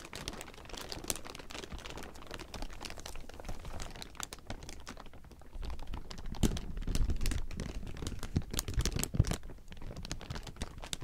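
Fingertips pinch and scratch the surface of a large heap of thin, clear plastic film, producing a dense, continuous stream of sharp crinkles and crackles. The crinkling grows louder and more energetic from about six seconds on, with a few brighter snaps standing out near the end.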